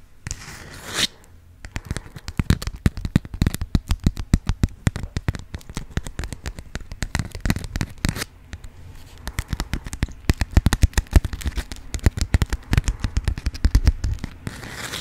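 A yellow honeycomb-print beeswax-coated cotton food wrap is crinkled and crackled in hands with long acrylic nails. The result is a dense, rapid stream of sharp, dry crackles and pops with a heavy low thump under them. A brief bright rustle sounds at the start and end, with a short lull just past the middle.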